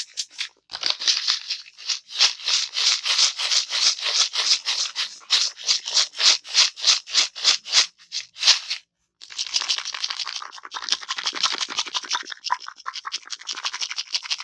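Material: Plastic.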